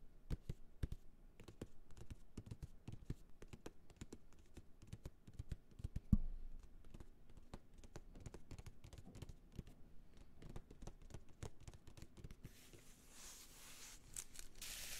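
Long fingernails tap and scratch a small, flat, solid pink leather (possibly faux leather) wallet with a gold ring clasp, held in one hand. A rapid run of soft, dull taps stays mostly in the low range, with one sharper, louder knock around six seconds. In the last few seconds the tapping gives way to a hissy scratching sound.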